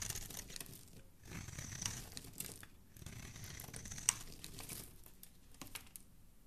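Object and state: Bar of soap being scraped.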